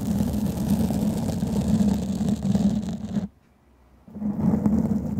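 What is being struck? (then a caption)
Foam microphone windscreen. A black foam microphone windscreen is scratched with long fingernails, producing a dense, rumbling, scratchy texture with a low hum-like tone around 220 Hz. The scratching drops out almost to silence for about a second near the three-second mark, then resumes at full strength.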